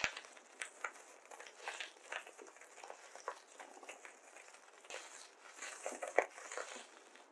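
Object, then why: Polystyrene foam beads in a glass bowl. Hands hold handfuls of white polystyrene foam beads from a glass bowl, rub them between the fingers, then pinch and stir them in the bowl with their fingertips. The result is a quiet, continuous, bright crinkling and squeaky rustle with no low end, broken by small crackling bursts and one sharper squeak near the end.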